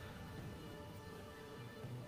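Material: Nothing is struck.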